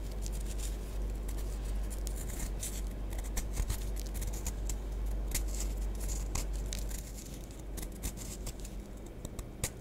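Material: Compressed powder.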